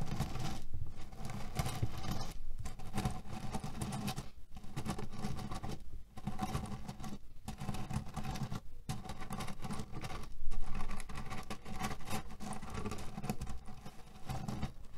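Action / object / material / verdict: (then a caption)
scrape / cotton pillow filled with cherry pits / cherry pits / none. A cotton canvas pillow filled with cherry pits is scratched and pressed with fingertips and nails. The result is a steady, irregular crunchy patter of shifting pits and rubbing fabric, with brief pauses and a louder burst near the ten-second mark.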